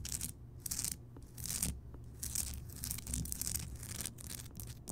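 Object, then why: Rock salt crystal lamp. A large, solid, rough Himalayan rock salt lamp, lit, is scratched across its surface by both hands with long nails. Repeated bursts of bright, hissy scraping come and go over a steady low hum.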